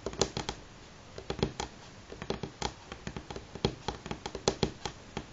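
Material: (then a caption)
Wood. Fingernails of both hands tap on a solid light pine wooden tabletop in quick, uneven bursts. Each tap is a short, dry click with a woody knock around 390 Hz and bright nail clicks on top, dying away almost at once. Faint quiet pauses fall between the runs of taps.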